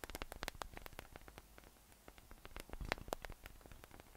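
Fingertips tap and scratch across the nubs on top of a yellow, hollow, inflated PVC spiky massage ball resting on a table. The result is a quick, irregular run of short, dry clicks and scratchy ticks with bright, high edges, a faint hollow tone, and almost no ring. The taps cluster in a dense burst at the start and again near the end, with softer scratching in between.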